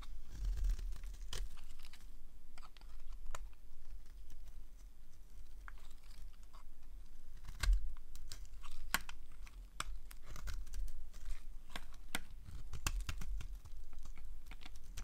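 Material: Soap.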